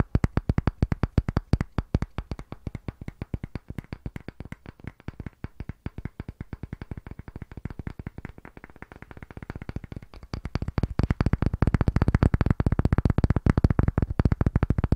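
A round, solid, pale wooden disc block about palm size is held in both hands above a microphone while fingertips and nails rapidly tap and scratch its face and rim. The result is a fast, steady stream of short, dull, low wooden knocks with almost no ring. The taps soften through the middle, then grow louder and denser for the last few seconds.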